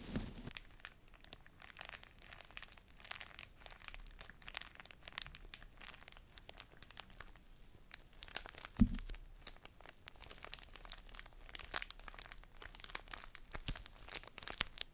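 A full, small, soft pocket tissue pack in a thin plastic wrapper is held in one hand and crinkled and scratched with long nails. Dense, quiet crinkling and crackling plays throughout, made of many quick, sharp clicks and scratches across a bright, wide range, with one louder crackle near the middle.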